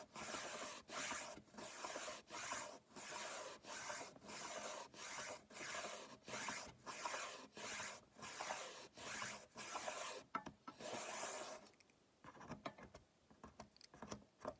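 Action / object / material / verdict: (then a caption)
scrape / wooden ruler wrapped in paper tape / wood, tape / none. Fingertips rub and scratch along a solid wooden ruler wrapped in blue painter's tape. A steady run of separate, bright, raspy strokes sweeps back and forth, then gives way near the end to quieter, scattered light scratches and ticks.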